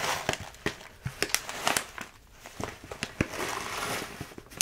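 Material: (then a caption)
Plastic. A full plastic bag of rolled oats is held in both hands and squeezed and crinkled. It gives about a dozen sharp, bright crackles of crisp plastic over a steady soft rustle, with little low end.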